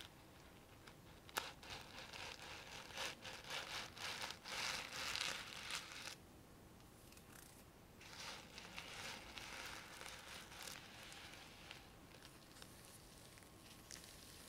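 Long painted nails scratch and brush across a small, flat, round disc covered in reversible plastic sequins on a rim, making bright, crinkly rustling in rapid bursts with a sharp click near the start. The scratching is loudest in the first six seconds, drops to a near-silent pause, then resumes as softer, steady brushing to the end.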